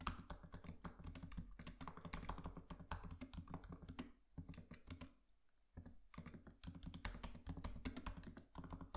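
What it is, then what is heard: Laptop keyboard typing. Both hands tap with their fingertips on the black plastic keys of a MacBook Pro laptop keyboard set in an aluminium body. Quick, soft, dry clicks run in busy bursts over a steady low hum. The typing thins out and goes nearly quiet for a moment partway through, then picks back up.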